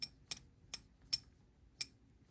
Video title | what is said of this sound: I bought fake silver on EBay. And some pickups for the stack. | ping test on it, silver to silver here, and it, if you can hear that, fell flat